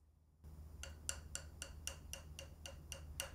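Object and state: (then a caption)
Magnesia-bonded whetstone. A magnesia-bonded whetstone, held dangling between the fingers, is tapped ten times with a fingernail at a steady pace of about four per second. Each tap gives a short, bright, high-pitched click that dies away almost instantly, over a low background hum. The tap sounds almost the same as a vitrified whetstone's, so the sound alone makes the two hard to tell apart.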